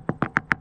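Four quick taps with the metal part of a hammer on the fiberglass cored deck of a C&C 35 Mk III CB sailboat give short, dry clicks with a bright tone near 1.7 kHz and almost no ring. The deck sounds solid and dry, and a moisture meter confirms it reads basically dry there.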